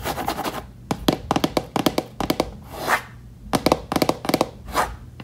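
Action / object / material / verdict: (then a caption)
tap / wooden case lid / wood / none. Fingertips and long nails tap and drum across the flat lid of a closed, hollow box-style case with a reddish mahogany wood-grain finish and metal latches at the front edge. Quick, dry clusters of hollow knocks with a mid-range tone alternate with soft scratchy swipes across the lid. Each tap dies away almost at once.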